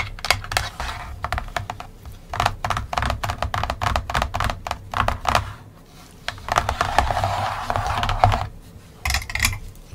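Long painted nails and fingertips tap and scratch across a large, flat, folded printed paperboard 1960 Milton Bradley Game of Life board lying on a table, with small plastic buildings and hills attached. Quick, dry clicking taps come in irregular clusters, broken by longer, brighter scratching passes over the surface. A steady low hum runs underneath.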